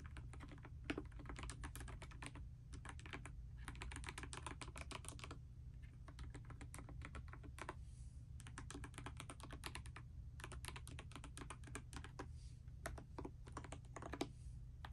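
A pastel mechanical keyboard with plastic keycaps, resting on a blue bedspread, is typed on continuously with fingertips and long nails. Dense, quick clacks and clicks run throughout over a steady low hum, with a few sharper, louder taps standing out.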